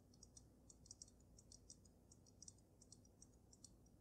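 Long nails rapidly tap the sides of the glass dome of a water-filled dragon snow globe. The result is a quiet, irregular series of short, bright, high-pitched clicks that die away almost instantly, over a soft low rumble.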